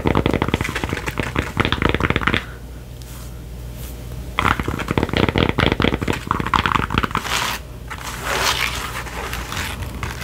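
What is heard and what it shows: Long painted fingernails scratch and rub the foam crown and curved brim of a soft, hollow red and white trucker cap with a foam front panel and mesh back, worn on the head. Bursts of dense, crackly scraping alternate with quieter stretches of low hiss.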